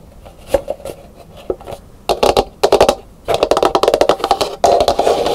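Long pink nails scratch and tap the textured outer shell of a medium, hollow, dried, painted calabash gourd bowl, which sits empty and upside down on a wooden table. Soft scratching gives way to bursts of quick, hollow, woody taps with a mid-pitched resonance that dies away almost at once. The clip ends on a dense run of rapid tapping.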